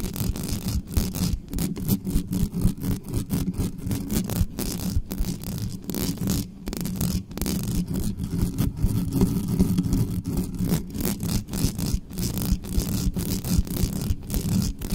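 Long nails rapidly scratch the bare metal mesh grille of a black studio microphone, with no cover on it. The result is a dense, continuous run of fast, rough scraping, heavy and boomy in the low end around 180 Hz with little brightness, holding a steady level throughout.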